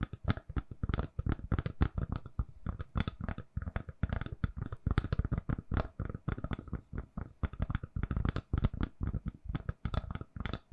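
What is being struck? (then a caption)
Silicone-covered phone case. Long nails tap and scratch a hand-sized, solid, lilac silicone-covered phone case fitted on a phone. The result is a quick, uneven run of soft, dull, low thuds with short bright clicky edges and almost no ring, broken by brief pauses.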